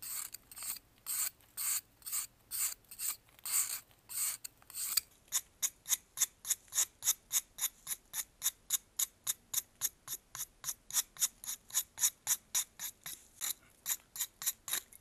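A metal knife rasps and scrapes across the faceted surface of a solid white pressed baking soda block held in blue gloves. About 42 dry, bright scraping strokes are heard: longer, slower strokes for the first five seconds, then quicker, shorter ones in a steady rhythm. The sound is almost entirely high-pitched with no low end.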